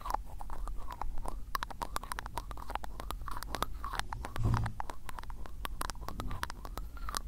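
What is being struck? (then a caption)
Glass ink bottle with ribbed plastic cap. Fingers twist the ribbed black plastic cap on an ink-filled glass bottle. A fast run of dry, scratchy clicks and ticks continues for about seven seconds over a low, steady rumble, with a faint wavering tone in the mid-range.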